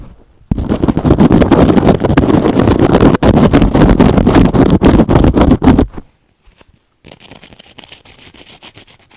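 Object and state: Kitchen sponge with scrub pad, scratched.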